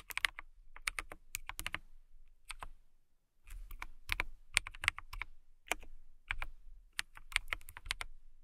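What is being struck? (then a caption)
Plastic mechanical keyboard. Fingertips with long nails type on a clear plastic mechanical keyboard with transparent keycaps and a transparent case. Quick bursts of sharp, bright clacks with a soft low thud beneath each keystroke come in uneven runs, with a brief pause near the three-second mark. Each key stops almost instantly, with no ring.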